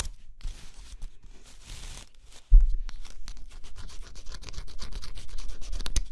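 A thin stylus held by the fingertips scratches the coating on a flat scratch-off cardboard jigsaw puzzle. Soft, faint, bright scratching strokes run for the first two and a half seconds, then a sudden low thump leads into louder, denser scratching. Quick, rasping strokes continue steadily to the end.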